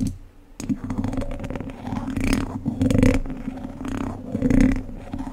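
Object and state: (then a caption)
Metal mesh microphone grille. Two wooden chopsticks scratch and tap across a hollow domed wire-mesh microphone grille. After a brief near-silent start, dense scraping and clicking rise and fall in irregular swells, over a steady low resonant tone around 258 Hz. The loudest bursts come near the middle and end.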